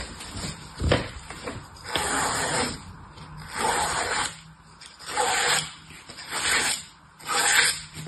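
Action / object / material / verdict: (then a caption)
scrape / green floral foam block cut with a utility knife / floral foam / none. An orange utility knife cuts and scrapes the surface of a solid green floral foam block resting on a table while one hand holds it steady. A series of dry, gritty scraping strokes rise and fade in turn, each one bright and hissy with a crumbly rasp, separated by short quiet gaps.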